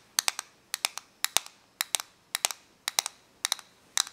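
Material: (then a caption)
Plastic. Long nails tap and click on the clear plastic casing of a small plastic correction tape dispenser held in the hands. About eighteen sharp, bright clicks come in quick bursts of two or three, with almost no low end. Each click dies away instantly against a quiet background.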